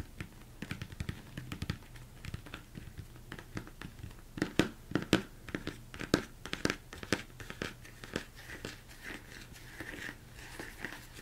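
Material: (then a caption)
Plastic. Fingers tap and scratch the sides of a large, hollow, empty plastic mixing bowl turned upside down. Irregular, quick, dry knocks with a low body and very short ring mix with soft scraping, growing louder in the middle before settling into lighter, brighter scratching.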